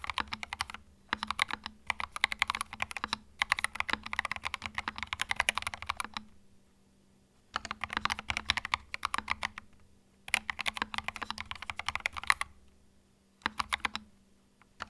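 Fingertips type on a small white 65% mechanical keyboard with plastic keycaps and a hollow plastic case, resting on a felt mat. Bursts of rapid, bright, clacky keystrokes come in several runs separated by short pauses, each click dry and quick with almost no ring. A faint low hum sits underneath throughout.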